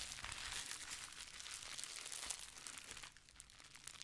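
Clear plastic bubble wrap, folded into a small pad and held close to the mic, is scratched and rubbed by long painted nails and fingertips. Dense, bright crinkling and crackling fills the clip in a steady, irregular stream, then grows quieter and sparser over the last second.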